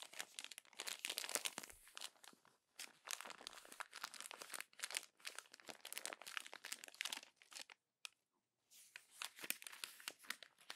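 The pages of a thin glossy paper magazine lying open on a table are crumpled, rubbed and pressed by fingertips and long acrylic nails. Dense bursts of bright, crisp crinkling and crackling come in waves separated by brief pauses, with a near-silent gap around the eighth second before the crinkling resumes. The sound is quiet and almost entirely high-pitched, with no low rumble.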